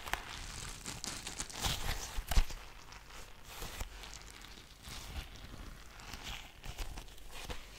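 A palm-sized blue soft rubber squishy stress ball, full of water beads, is patted with a flat hand and tapped with fingertips and long nails. The result is a run of soft, irregular, close-up pats and clicky nail taps with a faint crinkly rustle, and one sharper slap stands out near the middle.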